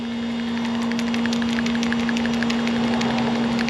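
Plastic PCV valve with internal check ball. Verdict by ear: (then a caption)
Working. A plastic PCV valve removed from a 2006 Chrysler 300 SRT8 is shaken, and its internal check ball rattles in quick, light clicks over a steady low hum. The ball moves freely, and the valve is confirmed to be working.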